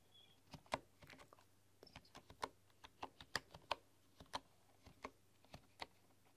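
Slow typing with fingertips and long dark-polished nails on a full-size bamboo computer keyboard with a bamboo body, bamboo keycaps and a hollow case. About 17 separate, quiet, crisp clicks sound, each with a bright, hollow tap around 930 Hz that dies away almost instantly, spaced unevenly over a faint low hum.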